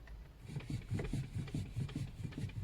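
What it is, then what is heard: Worn, loose inner steering tie rod knocking. Worn, loose inner tie rods in the steering rack of a Lada Vesta with 75,000 km knock as the steering wheel is rocked back and forth. The repeated dull, low-pitched metal knocks come in a steady rhythm, eight in all. The inner tie rods are faulty and due for replacement.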